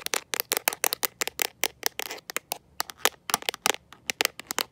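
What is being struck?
Rubber and plastic phone case.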